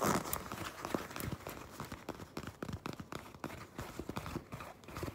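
Long pink nails grip and scratch along the seamed edge of a black leather jacket. The result is a quick run of soft, dry scratching and crinkling sounds with short, muffled taps, louder at the start.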